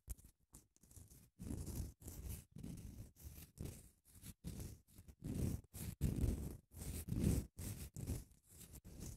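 Long nails scratch along a long grey padded emery nail file with a printed label, its grit laid over foam. Short, irregular bursts of dull, raspy scratching follow one another in quick succession, heavy in the low end with a soft, airy hiss and almost no ring after each stroke.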